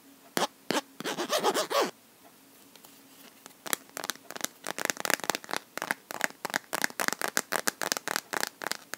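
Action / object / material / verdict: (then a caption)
tap / plastic phone case on a smartphone / plastic / none. A smartphone in a clear, pink-edged plastic case filled with liquid glitter is tapped and scratched across its flat surface and edges with long natural nails. Two early taps lead into a second of rough, rising scratching, then a quiet gap with a faint hum. After that comes a long run of quick, bright, dry clicks that speeds up toward the end.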